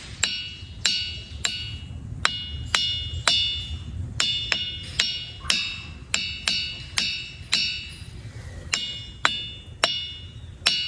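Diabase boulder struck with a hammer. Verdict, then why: Ringing. A hammer strikes diabase boulders at Ringing Rocks Park in Bucks County, Pennsylvania, with 18 sharp metallic hits, each ringing with a bright bell-like tone centered near 3.5 kHz that fades within a fraction of a second. A low rumble runs beneath the hits, while other visitors in the distance strike the rocks as well.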